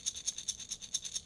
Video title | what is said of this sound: Wood Rattle Teether Stella the Sparrow from Finn + Emma | soft rattling sound made when you shake it comes from the indian cooking beans it's stuffed with